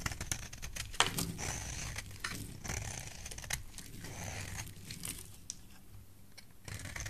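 A metal blade shaves a rectangular solid yellow bar of soap held in the hand, making a steady run of dry, crisp scraping and crinkling strokes with bright edges. A sharper snap stands out near the start, and a low rumble sits beneath the quiet, close shaving.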